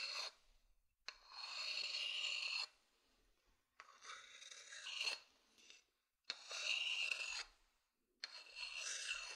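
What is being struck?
Wooden bowl.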